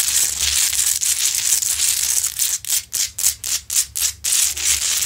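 Long acrylic nails scratch the sides and front of a large, lit, solid rock-salt Himalayan salt lamp. A bright, dense scraping hiss runs steadily at first, then breaks into a series of quick, separate rasping strokes before returning to continuous scratching over a faint low hum.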